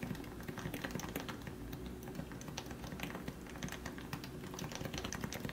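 Fingertips type rapidly on a compact white plastic Leopold FC660C Topre electrostatic capacitive keyboard with lubricated 45g switches. The result is a steady stream of soft, muffled, low keystrokes, each with a brief bright click, over a faint constant hum.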